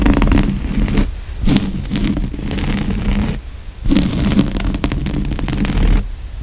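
Fingertips and nails scratch and tap the grey woven upholstery fabric of a large padded couch seat cushion. The result is a steady, dense rasping scratch with a low, muffled body, broken by brief pauses near one, three and a half, and six seconds.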